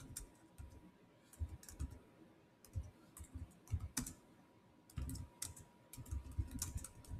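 Fingertips type fast on the black plastic chiclet keyboard of a silver Samsung laptop with solid keys. The result is bursts of quick, dull clicks with low thuds and bright, short tick edges, separated by brief pauses, over a faint steady tone.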